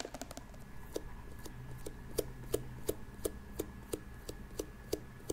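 Long pink acrylic nails tap and click on the glossy shell of a small, hollow, hard-shell glasses case with a metallic turquoise coating, a cartoon cat face and a metal carry handle, held up close to the microphone. Sixteen short, sharp clicks land at a loose pace of about three per second, each with a hollow tone near 440 Hz and a bright tick on top. Every click dies away almost instantly over a quiet low hum.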